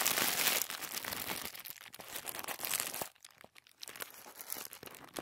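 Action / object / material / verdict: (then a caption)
scrape / tissue paper sheet / paper / none. A thin white tissue paper sheet is unfolded and crinkled by fingers while partly lifted from a wooden table. A dense, bright rustle at the start gives way to quick, irregular crackles and crinkles, with a brief quieter gap just past the three-second mark before the crinkling resumes.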